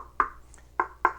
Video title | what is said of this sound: Is Polk Audiophile?! Polk Speaker Review Signature Elite ES15 | if something sounds hollow, something sounds like a 5-gallon bucket, probably not braced very well